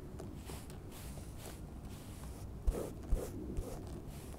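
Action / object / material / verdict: tap / moss-covered limestone rock / limestone / none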